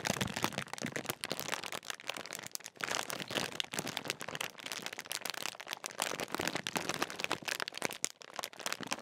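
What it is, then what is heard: Crinkled foil crisp packet. Fingertips crinkle and scratch the metallised plastic film of a large Walkers crisp bag, which appears sealed and full. A dense, continuous run of sharp, bright crackles and rustles fills the clip, mostly high in pitch with very little low end, as the crisp film rasps under the fingers throughout.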